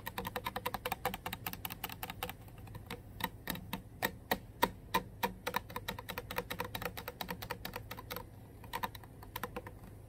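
Long nails on several fingers tap rapidly on the body of a full Core water bottle, made of clear plastic with a label and lying on carpet. The result is a fast, uneven stream of short, dry, bright clicks with a slight hollow tone near 945 Hz and almost no ring after each tap.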